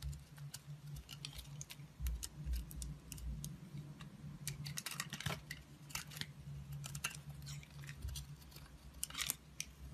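A utility knife cuts and scrapes pieces off a solid black bar of soap held in hand, the shavings piling up below. Many crisp, bright scraping clicks and short cutting strokes sound over a steady low hum, dense through the middle and end of the clip.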